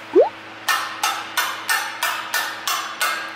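A gloved hand taps the steel valves of a removed BMW 520d diesel cylinder head, a large solid cast-aluminum part lying on a cloth, to judge their condition by sound. After a brief rising squeak, eight evenly spaced, short, bright metallic taps ring out, each fading quickly.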